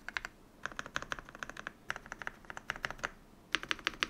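Fingertips press and tap the plastic keycaps of a modded full-size Yunzii YZ98 mechanical keyboard, picked up by a microphone. Short, crisp clacks with a bright, high edge come in quick bursts of typing separated by brief pauses. Each keystroke dies away almost instantly, leaving only quiet between bursts.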